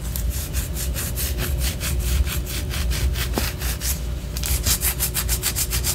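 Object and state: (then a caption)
Wax pillar candle being scratched. Long orange acrylic nails scratch a large white solid wax pillar candle, first held sideways and then upright. Quick, rhythmic scraping strokes make a steady run of bright, rasping bursts over a constant low hum.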